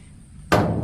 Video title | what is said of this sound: Spend Some Time With Me ~ An Impulsive Grocery Haul, Farm Work and More | See how hollow that sounds because it's empty all the way down.